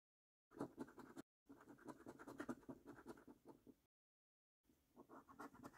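A coin scratches the latex coating off the symbols on a flat, thin cardboard paper scratch card held by the fingertips. Quick, dry, rasping strokes come in three bursts separated by short silences, with most energy in the low mids around 240 Hz and faint bright streaks above. Each stroke stops dead with no ring.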